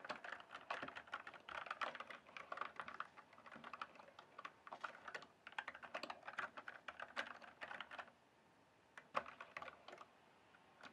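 Fingertips type and tap on the keys of a full-size backlit plastic mechanical keyboard with a hollow case, producing rapid, crisp clicky keystrokes with a bright, hollow clack. The typing runs steadily for about eight seconds, goes quiet for about a second, then resumes with a few scattered taps.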